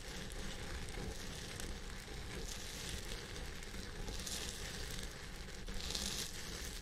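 Fingertips and nails of both hands scratch the fibers at the top of a purple synthetic wig on a head form. The result is a steady, quiet crackling rustle over a low rumble, with brighter hissy swells near the middle and end.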